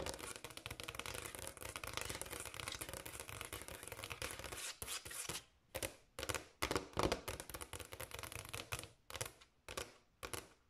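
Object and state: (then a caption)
Granite countertop, tapped and scratched with nails. Long acrylic nails on both hands tap fast and scratch lightly across a large, solid, speckled granite countertop. For about the first five seconds there is a dense, continuous, bright clicking and scratching texture; after that it breaks into short separated bursts of rapid tapping with brief quiet gaps between them.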